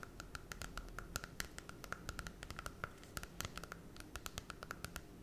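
Long red acrylic nails scratch and tap the holographic glossy cardboard cover of a small Disney Cinderella children's picture book held in both hands close to the face. A quick, irregular run of dry clicks and taps with soft scratching between them, each tap a short, bright tick that rings around 1.3 kHz over a low rustle.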